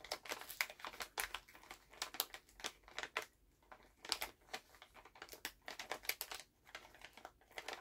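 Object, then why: Plastic candy pouch. Fingertips tap and crinkle a full Halls plastic cough drop candy pouch held in both hands. The result is a quiet, rapid series of sharp, bright crinkling taps and rustles with short pauses between bursts and almost no low end.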